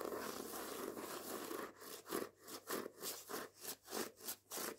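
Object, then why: Hardback book with paper dust jacket. The paper dust jacket of the hardback book "Jews Don't Count" is tapped and scratched, back and front, with nails and fingertips. A soft, continuous papery scratching gives way to a series of rhythmic, rasping strokes with bright, dry texture and almost no low end.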